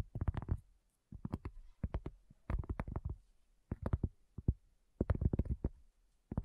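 Long fingernails of both hands tap rapidly on a solid, round, flat cork coaster. Quick flurries of short, dull, low-pitched taps come in several bursts separated by brief pauses. Each tap dies away almost instantly with no ring.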